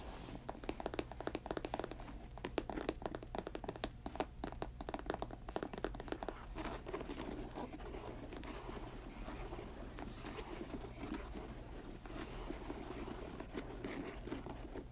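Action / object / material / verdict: scrape / patent leather sneaker upper and laces / patent leather / none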